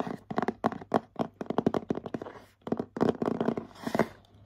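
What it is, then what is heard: Cardboard gift box. Short nails tap and scratch the glittery Hello Kitty front of a medium printed cardboard gift box for a bath set. Quick, dry midrange taps come in rapid bursts with almost no ring, and a brighter scratchy rasp rises near the end.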